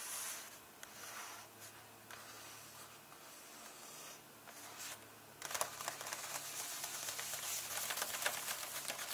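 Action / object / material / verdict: scrape / paperback book paper pages / paper / none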